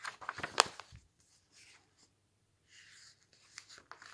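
Fingertips turn and flip the thin glossy pages of a large glossy paper magazine lying open on a table, one page after another. A cluster of sharp, bright crinkles and snaps comes first, then a near-silent pause, followed by softer rubbing rustles and a few light papery ticks as the pages flutter.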